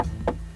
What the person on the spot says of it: Kalau kita ketok-ketok, sesuai dugaan kalian semuanya memang masih hard plastik biasa ya.